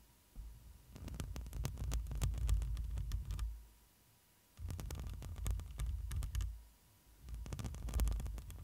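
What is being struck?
Metal mesh microphone grille.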